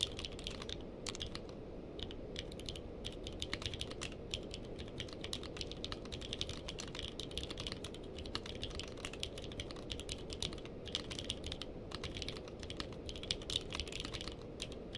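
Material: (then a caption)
Plastic. Two hands type steadily with fingertips on a purple-cased mechanical keyboard with plastic keycaps. The result is a dense, continuous stream of short, bright clicks peaking around 3.5 kHz, each dying away almost instantly over a steady low background noise.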